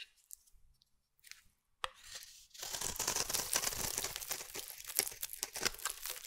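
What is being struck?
Bar of soap cut with a metal blade.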